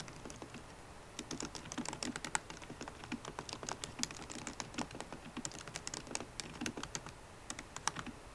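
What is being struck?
Laptop keyboard with plastic keycaps in a metal case.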